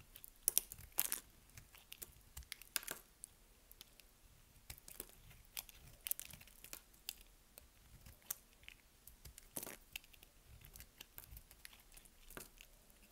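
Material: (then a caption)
Soap. A hand-sized, solid purple bar of dry soap, held in one hand, is cut and scraped with a small metal utility blade, and the shavings fall onto a pile of soap chips. The sound is a quiet series of dry, crisp scrapes and crunchy snaps with a bright, high hiss and almost no ring.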